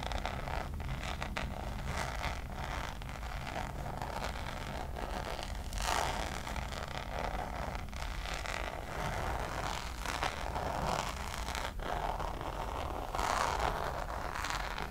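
Long acrylic nails scratch and tap the textured surface of a flat, hand-sized, hollow Louis Vuitton checkered coated-canvas zip pouch held up in the air. A steady dry scratching and rustling runs throughout, with soft taps and brighter scraping bursts rising now and then over a constant low rumble.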